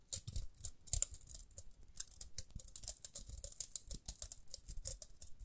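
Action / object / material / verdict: scrape / plastic round hairbrush / plastic / none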